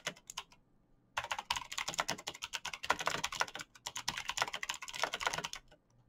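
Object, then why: Mechanical keyboard with plastic keycaps. Fingertips type fast on a black backlit mechanical keyboard with plastic keycaps and clicky green switches. A few scattered clicks are followed by a short pause, then a dense run of sharp, bright clacks that stops abruptly near the end.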